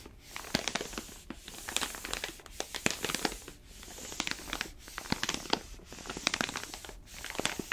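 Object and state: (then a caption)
Paper-foil coffee bean bag. A palm rubs and squeezes the paper surface of an orange paper-foil coffee bag full of beans. It makes dense, bright crinkling and crackling with many sharp, quickly fading snaps in uneven bursts. There are brief quieter gaps between the bursts.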